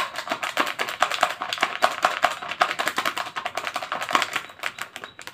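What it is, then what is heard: Thin plastic cup, empty. A small, thin, clear disposable plastic cup, empty and hollow, is held in both hands and squeezed, tapped and scratched with fingertips and nails close to the mic. It gives a fast, irregular run of crinkly clicks and taps with bright edges and a faint hollow ping around 700 Hz. The clicks die away almost instantly, with no low end.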